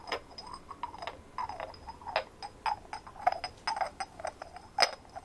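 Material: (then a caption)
Ceramic. A hand-sized white ceramic ornament with a rough textured surface and glazed decorations is held out and tapped and scratched with fingernails. About fourteen sharp, tick-like clicks come at an uneven pace, each with a bright top and a brief mid-range ring that dies almost at once. Soft scratching rustles fill the gaps.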